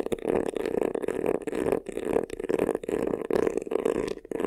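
Fingernails scratch quickly across the front of a medium black croc-embossed faux-leather vanity case, a hollow covered box. A steady run of raspy, mid-pitched scraping strokes sounds with a hollow, resonant tone, broken by brief pauses between the strokes.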